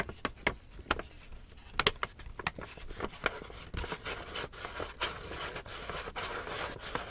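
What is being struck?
Empty paper gift bag.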